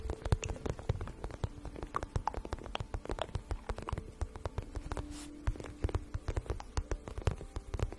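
A glossy pink vinyl pouch, held flat in both hands and hollow and empty-looking, is tapped and scratched quickly with long nails. The result is a dense run of short, dry clicks and scratchy taps over a soft, low, hollow thump.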